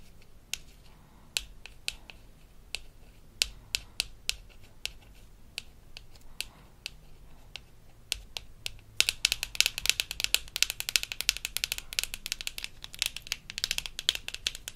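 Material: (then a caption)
Plastic. Long nails tap and scratch the front of a small, hollow pink plastic toy floss case from a toy dentist kit, held in the hand. Sparse, bright, dry clicks come first, then after about nine seconds a dense, rapid flurry of clicking and scratching.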